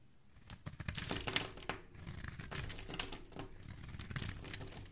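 A utility knife blade scrapes and shaves across the surface of a palm-sized, solid rectangular yellow bar of soap with stamped lettering, held in the hand, with curls falling off. A quick run of crisp, bright, crinkly scraping strokes rises and falls over a soft low rumble.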